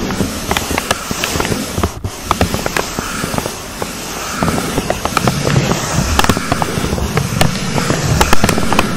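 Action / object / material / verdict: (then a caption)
scrape / pleated paper cupcake liner over a foam mic cover / paper / none. A thin, hollow brown pleated paper cupcake case fitted over a foam microphone windscreen is scratched and tapped with long acrylic nails. The result is a dense, steady crackling rustle with a heavy low rumble, broken by many sharp, bright clicks that grow busier toward the end.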